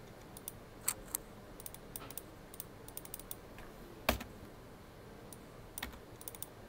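Fingertips of both hands type on the keys of a full-size black plastic computer keyboard with a hollow body. The result is a loose run of light, bright key taps, with one noticeably louder, fuller keystroke near the middle, over a low steady background hiss.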